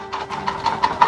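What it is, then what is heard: Action figure box with loose contents. A boxed action figure with its accessories, packed in a dark cardboard box, is shaken, and the loose contents rattle against the packaging in four quick bursts. The rattle shows the pieces inside aren't held tightly and may come out in disarray.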